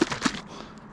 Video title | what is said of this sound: Catch and cook Kelp greenling sandwich | thickened up a little bit after letting it sit like you can hear the difference in the sound when you shake it